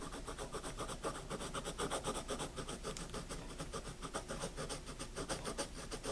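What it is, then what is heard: Pencil scratching on a paper notebook. A pencil tip is rubbed and scratched with firmer strokes across the paper of a wire-bound paper spiral notebook resting on a table. A fast, steady run of dry, rasping strokes with a bright, papery hiss repeats continuously throughout.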